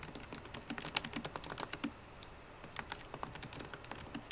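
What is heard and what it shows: Fast typing with long nails and fingertips on a MacBook Pro keyboard, its plastic keycaps set in an aluminum body. Quick, light, dry clicks and taps with bright, crisp tops and almost no ring follow one another in an uneven stream, easing briefly in the middle before picking back up.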